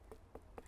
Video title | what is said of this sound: Redcatch Community Garden - wildlife gardening competition winner -community space | if you knock it, we've got a little bit of a hollow sound, so that's really good